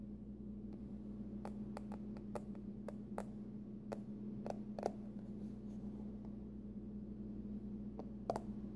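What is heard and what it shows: Long nails tap and scratch the front, then the edge, of a closed, hollow, hard-shell printed aluminum card-case wallet with a pumpkin print, held in both hands. Quiet, sharp, bright clicks and brief scrapes sound over a steady low hum and background hiss.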